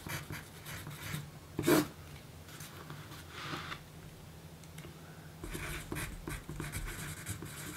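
A yellow pencil writes a list on a small, thin pink paper note card resting on a dark surface, scratching graphite across the paper. Soft, papery scratches come in short strokes, with one louder scrape near the start. They give way to quieter stretches, then a denser run of bright, hissy writing toward the end over a faint low hum.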